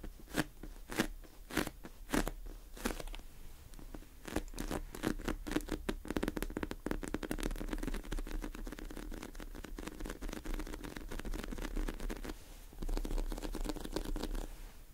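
Long nails and fingertips press into and scratch the cracked surface of pink, sprinkle-topped crunchy slime filling a plastic tub. The result is a dense stream of crisp crunching and scratching crackles, with separate pops early on that merge into a near-continuous crackle and ease off briefly around the twelfth second before resuming.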